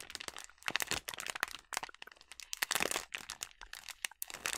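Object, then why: Plastic snack bag filled with sliced almonds. A filled yellow plastic snack bag of sliced almonds is crumpled and squeezed in the hands. It makes dense, bright crinkling and crackling in quick irregular bursts with short pauses between, and almost no low end.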